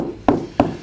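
Two knocks on a ceramic wall tile set on mortar, where gaps were left behind the tile, each giving a short, hollow, mid-pitched tock that fades quickly. The hollow sound shows the tile is not fully backed by mortar.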